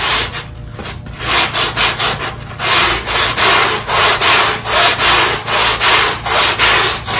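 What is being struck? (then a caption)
Synthetic carpet tile scrubbed with a stiff push broom. A black push broom scrubs back and forth over the pile of a small, square, wet, ribbed synthetic carpet tile, a very dirty one left outside by the trash bin, to deep clean it. A soft, steady brushing first gives way to about ten loud, rhythmic scrubbing strokes, each a bright, hissy swish of bristles dragging through the wet pile.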